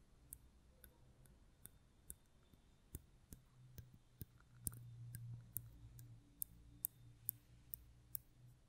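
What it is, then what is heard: Mosaic glass candle holder tapped with nails. A hollow red mosaic-glass votive candle holder, held by its rim and bottom, is tapped with long nails, giving 19 sharp, bright clicks at an irregular pace. The taps are quiet and die away instantly over a low background rumble that swells briefly near the middle.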